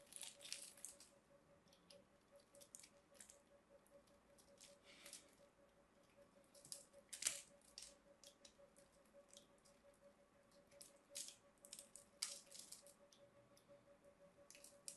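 A palm-sized, solid cream-coloured bar of soap is held in one hand while a small blade in the other scrapes and carves into its surface, dropping flakes onto piles of soap shavings below. Quiet, crisp scratching and scraping strokes come in irregular bursts, mostly bright and high with almost no low end and a faint steady hum underneath.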